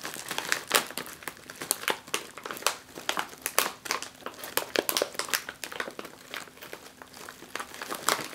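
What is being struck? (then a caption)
Foil-lined plastic snack bag. A full, sealed, foil-lined jalapeño chip bag lies on a table while both hands with long nails press and crinkle its plastic. Dense, irregular bright crackles and crinkles come in quick bursts, with sharper snaps standing out and almost no low end.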